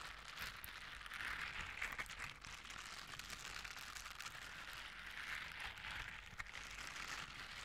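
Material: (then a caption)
Silicone. Blue silicone bristle scrubber gloves are worn on both hands, and the fingertips and bristle pads are rubbed and scratched against each other. The result is a steady, bright, crackling scratch with a fine rain-like texture and brief louder rasps.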